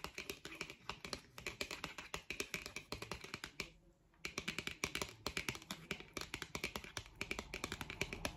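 Long acrylic nails rapidly tap and flick along the edge and face of a thin, solid, flat printed white cardboard card, a Disney product backing held in the hand. Dozens of short, dry, bright clicks come in quick bursts, with a brief pause just before the four-second mark before the tapping resumes.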